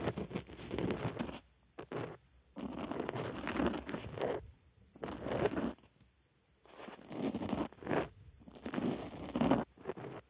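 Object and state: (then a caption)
Foam makeup sponge. A white foam makeup sponge sits on a microphone ear while a wooden stick scratches inside the hole in the foam. Bursts of dense, crackly scratching and rustling come close to the mic, with short quiet gaps between them.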